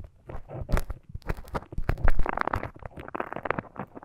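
A thin bamboo ear pick held in the fingers scratches and scrapes inside the ear canal of a flesh-coloured, life-size solid silicone ear model microphone. The result is close, crisp crackling and peeling crunches in quick irregular bursts, heavy in low rumble with brief bright scratchy edges.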